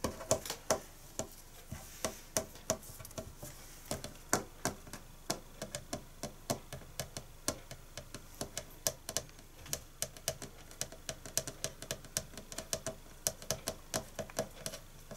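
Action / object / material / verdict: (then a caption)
tap / painted wooden tabletop / wood / none. A hand resting flat on a large, solid, green-painted wooden tabletop taps it with its fingertips and nails, while a wrapped sponge pack and small paper scraps lie untouched nearby. Dozens of short, dry, clicky taps come at an irregular, unhurried pace, each bright and sharp with a faint low knock and almost no ring. Some taps land louder than others.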